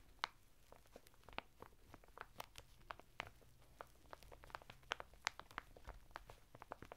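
Fingertips scratch and rub the textured surface of a flat bath mitt of coarse woven natural fibre, sealed in a thin printed plastic packet and lying sideways on a table. It makes a quiet, irregular run of sharp, bright crinkling and scratching ticks over a soft low rumble.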